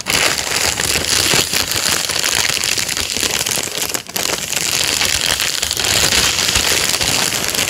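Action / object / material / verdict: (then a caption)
scrape / thin tissue paper / paper / none. Thin white wrapping tissue paper lining an open cardboard shoe box is rubbed, pressed flat and crinkled by fingertips and the palm of the hand. A dense, bright, continuous crackling and rustling runs throughout, with a brief dip just after four seconds before it resumes.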